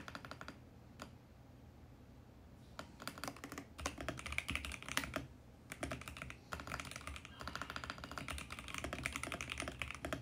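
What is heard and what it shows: Fingertips type steadily on a VGN X68 compact mechanical keyboard with plastic keycaps, producing dense runs of bright, clacky keystrokes. The typing comes in bursts separated by short quiet pauses, and each click dies away almost at once.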